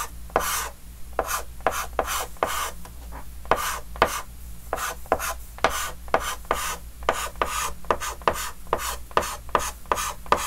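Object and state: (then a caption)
Chalk drawing on a chalkboard. A white chalk stick held in the fingers scratches quick, short strokes across the surface of a large, flat, dark green wooden-framed chalkboard. About two dozen brief, dry scraping strokes come in an uneven rhythm, each a gritty rasp with a midrange core around 1 kHz and bright hiss. A faint, steady low hum sits underneath.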